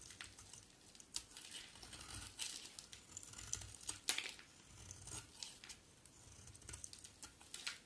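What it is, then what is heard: Bar of soap being shaved. A box cutter blade shaves a solid white oval bar of soap, peeling off long white curls. Quiet, bright, crisp scraping and crinkling strokes repeat with little low end, and a few sharper clicks stand out between them.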